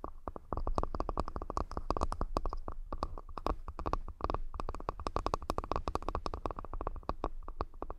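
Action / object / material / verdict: tap / wooden accessory box / wood / none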